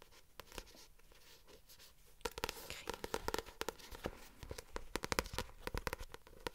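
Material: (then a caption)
Card. Long acrylic nails tap and scratch the glossy printed card cover of a paperback novel, "Nos étoiles contraires," held up close. It opens with a faint scratchy rustle, then from about two seconds sharp, dry clicking taps arrive in quick irregular bursts over a steady scratching hiss.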